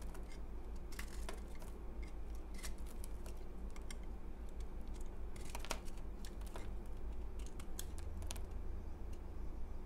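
A utility knife blade scrapes and crumbles a solid, porous, crumbly pale green dried bar of soap held in the hand. It makes a rapid series of short, crisp, bright crackling scrapes over a steady low hum.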